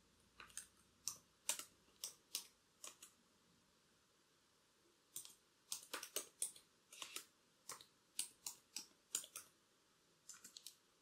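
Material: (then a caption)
Plastic. Long black acrylic nails tap and type on the plastic keys of a laptop keyboard, with a bracelet on the typing wrist. Quiet, sharp, bright clicks come in irregular bursts separated by short pauses, each click dying away almost instantly.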